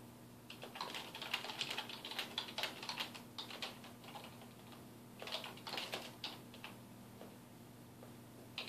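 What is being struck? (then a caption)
Plastic computer keyboard. Fingertips of both hands type on a black plastic computer keyboard resting on a wooden desk, producing rapid bursts of bright, short key taps with little ring. The typing comes in uneven runs with a brief pause midway, over a faint, steady low hum.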